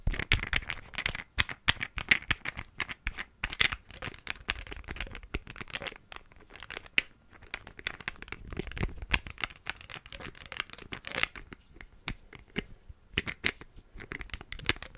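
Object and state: Glass perfume bottle.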